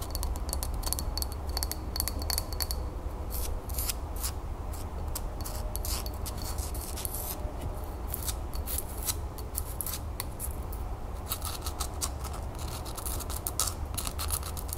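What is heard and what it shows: A small hollow green-glazed celadon ceramic tea infuser cup with an unglazed base is held in the hands while long nails scratch and tap its glazed side and rough unglazed bottom. The result is a steady stream of dry scratching with rapid, crisp clicks over a constant low hum.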